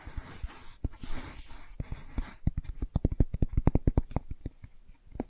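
Long nails scratch and rub the laminated cardboard cover and back of a closed hardcover children's board book held in the hands. A soft, bright rasping scrape runs for the first couple of seconds, then gives way to a quick series of short, dry taps and clicks with low thuds and no ring.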